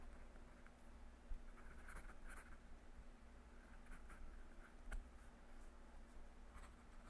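A metal fountain pen nib scratches across a yellow lined legal pad lying on a desk, with a clip-on microphone resting on the page. Soft, bright scratching strokes come in short bursts over a steady low hum, with a couple of sharper ticks from the nib.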